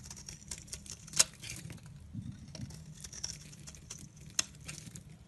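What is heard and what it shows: A blade with a pink handle carves and scrapes slices off a solid olive-green Dalan soap bar held in the hand. Soft, bright, crisp scraping patters along steadily over a low, constant hum. Two sharper clicks stand out partway through.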